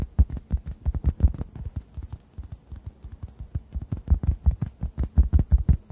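A hand-sized, solid, yellow-orange synthetic foam sponge is tapped with fingertips above the microphones, producing a rapid, uneven patter of soft, muffled low thumps centered around 60 Hz with almost no high end. The taps are dry and short, dipping quieter in the middle before building back up.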